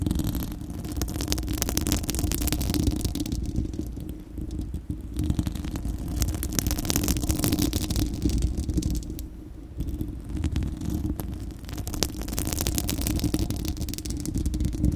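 Long acrylic nails of both hands scratch a bare, hollow, fist-sized spherical steel wire-mesh microphone grille. The result is a continuous, heavy, low rumbling scrape with dense crackling and faint bright fizz, easing briefly around 4–5 and 9–10 seconds before picking back up.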